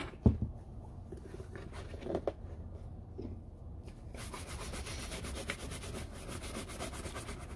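An empty, hollow brown oiled-leather lace-up Red Wing Iron Ranger work boot, held on its side on a wooden table, is brushed with a wood-handled horsehair brush, opening with a brief knock of hand handling. Low, soft rubbing strokes follow, then after about four seconds the brushing turns brighter and steadier, with a dense, hissy bristle texture over the leather.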